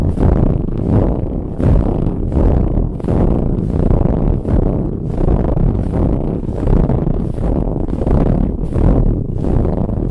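Long nails scratch aggressively across a soft, ribbed brown fabric pillow in steady back-and-forth strokes. The result is a dense, low, rumbling scrape with faint bright hiss flicking at the start of each stroke, continuous and without pauses.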